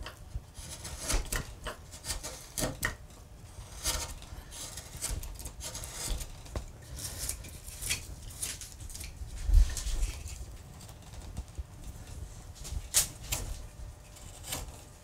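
A small gouge, guided by both hands, pares the carved edge of a large, solid, pale limewood relief panel. It makes repeated short, dry scraping cuts with bright, crisp bursts over a steady low rumble. The cuts are quiet and irregularly spaced, each dying away almost at once.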